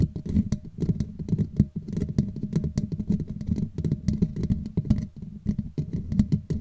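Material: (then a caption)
Metal mesh. Long nails scratch and tap quickly over the hollow black woven metal mesh grille on a Blue Yeti microphone head. The result is a dense, low, close-up patter of soft scrapes and taps with a faint steady hum, and brief bright clicks stand out over it.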